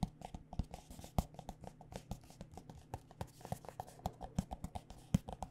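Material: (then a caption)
Plastic. Long nails tap quickly and irregularly on a white plastic body butter squeeze tube filled with lotion. The taps are quiet, short and dry, with a dull low body, a faint low tone and almost no bright edge, dying out almost instantly.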